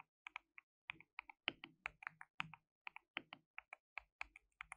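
Fingertips rapidly type on a compact white RGB-backlit mechanical keyboard with plastic keycaps and a hollow case. About 25 quick, bright, clacky keystrokes sound in irregular bursts, each dying away almost instantly, with a faint hollow thock beneath some of them.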